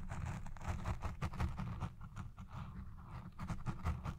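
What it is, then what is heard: Foam microphone windscreen being scratched. Long red nails scratch the side and base of a black foam windscreen on a Blue Yeti Pro microphone. The result is a muffled, low, rumbling scratching in quick, irregular strokes, with very little high sound.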